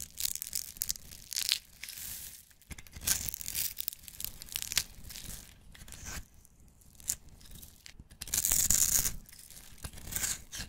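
A black-handled knife blade scrapes along the edge of a solid, hand-sized, green and white striped soap bar held in the hand, crumbling it into shavings. Bright, dry rasping and crumbly tearing sounds come in quick, uneven bursts with short pauses between strokes.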